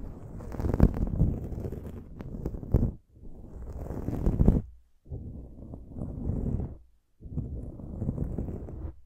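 Long nails scratch and rub a dark foam windscreen on a silver microphone, making a low, muffled rustling and crackling with no bright edge. It comes in four bursts separated by brief silences, each swelling and fading.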